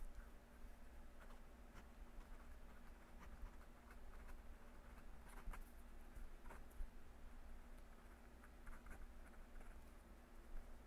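A metal fountain pen nib scratches across a yellow lined legal pad already covered in handwriting as a hand writes, with a clip-on microphone resting on the page. Quiet, dry scratching and light ticking patter come in uneven bursts over a steady low hum that dominates the sound.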